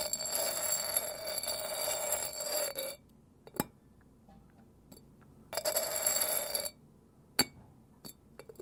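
The lid of a ceramic side-handle kettle made by a Yokohama potter is tapped. It gives two sustained bursts of bright, high clinking ringing, with sharp isolated clicks between and after them. The lid is rated a 12.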